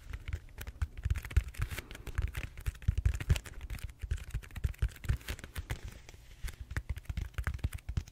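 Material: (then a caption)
Styrofoam. Fingertips and short nails tap and scratch the textured surface of a large, solid purple styrofoam foam roller held upright. The result is a steady run of rapid, irregular soft thuds, low and dull with almost no ring, and faint brighter scratchy rasps between them.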